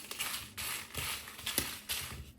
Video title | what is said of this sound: চ্যাপা শুঁটকির লোভনীয় রেসিপি,মুখে স্বাদ লেগে থাকবে এইভাবে ভর্তা বানালে আঙ্গুল চেটেপুটে খাবে সবাই!! | মচমচে মরিচ টেলে নিয়েছি। ঝনঝন শব্দ শুনে বুঝতে পেরেছেন।